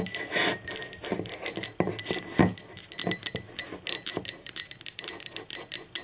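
Long acrylic nails tap the wall and rim of an empty, hollow, speckled teal ceramic mug as it is turned to different positions. The result is a quick, irregular run of bright, clinking taps, each dying away almost at once, with little low-end weight.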